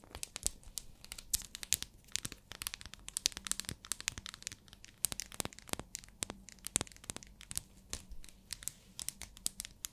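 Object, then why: Glycerin soap bar. Long nails tap and scratch the surface of a small, translucent pink bar of hard glycerin soap. The result is a quiet, dense stream of sharp, bright clicks and crackly scratches that stop instantly with no ring.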